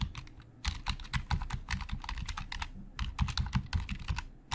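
Fast typing with the fingertips of both hands on a hollow black plastic Logitech keyboard. A rapid, uneven stream of short, dry key clicks with low hollow thumps under brighter clacks. The typing dips briefly before picking back up.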